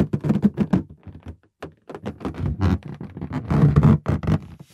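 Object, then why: Inflated latex balloon. Fingertips and nails scratch and rub the surface of a green inflated latex balloon, hollow and air-filled, held in both hands. The result is a quick run of dull, low, rubbery thumps and squeaky scrapes in uneven bursts, with brief quiet gaps between them.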